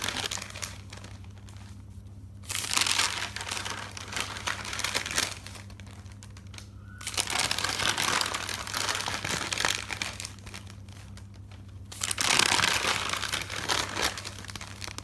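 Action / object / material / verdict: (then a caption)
scrape / paper notebook pages / paper / none. Fingers with dark nails lift and flip the pages of a thick paper notebook, making bright rustling and crinkling paper sounds. Three distinct bursts of flipping are separated by quieter gaps. A steady low hum runs underneath throughout.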